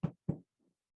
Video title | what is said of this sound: Textile Talk: The Gathering Basket: Creating a Reliquary presented by Textile Center | there's just structural interfacing if you tap on it it sounds like cardboard